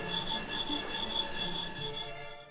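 Pounded dried snakehead fish flakes, pan-roasted in a little oil, are shaken in the pan, giving a continuous dry, crisp rustling and scraping that fades at the end. The sound shows the fish is dry, crispy and turning golden.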